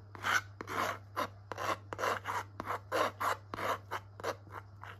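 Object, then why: Metal palette knife on canvas board with thick acrylic paint. A metal palette knife scrapes and smears thick wet purple acrylic paint across a small, flat, textured canvas panel held in a gloved hand. A steady series of short raspy strokes, each with a soft click at its start, sounds over a constant low hum.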